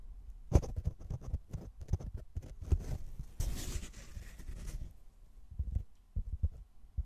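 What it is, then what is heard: Foam block. A medium rectangular black open-cell foam block, solid and soft, is held in both hands while fingertips scratch and tap its sides. Soft, muffled low thumps patter irregularly throughout, with a longer, brighter scratching rustle in the middle of the clip. The taps die away almost instantly with no ring.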